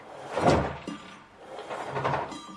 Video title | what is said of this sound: How to Remove Drum from Samsung Washing Machine | rulmentul s-a defectat și dacă iei arborele și îl miști puțin, poți simți un joc care nu ar trebui să existe